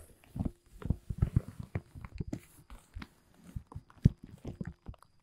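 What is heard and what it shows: Fingertips scratch and grip the surface of a large, thin, dark blue woven polyethylene tent groundsheet. The result is quiet, dull rustling and scraping in short, uneven bursts, with soft, muffled low thumps and little brightness.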